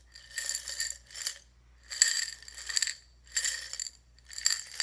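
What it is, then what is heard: Glass jar of buttons. A small clear glass jar partly filled with buttons is held sideways in both hands and shaken, sending the buttons clinking against the glass. The shaking comes in repeated bursts of bright, high rattling and chinking, with short quiet gaps between them.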